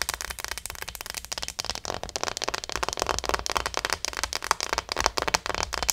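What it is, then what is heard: Plastic acupuncture model doll. Long nails rapidly tap and scratch the back and head of a small, likely hollow plastic acupuncture model doll. The result is a dense, irregular stream of bright, dry clicks and crackling scratches with almost no ring.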